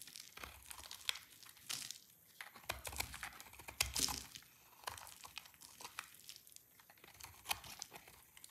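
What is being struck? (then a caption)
Soap bar. A solid, dry red soap bar held in the hand is shaved into brittle flakes with a utility knife blade. Quick, crisp scraping and crackling strokes follow one another, bright and dry with almost no ring. Louder crunchy cuts stand out from softer rustling shavings.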